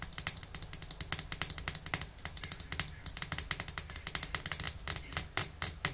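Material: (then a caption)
Glass. Long nails tap rapidly on the body of a small, thick glass bottle full of red nail polish, held by its white plastic cap. The result is a fast, uneven stream of dozens of sharp, bright clicks that die away almost instantly.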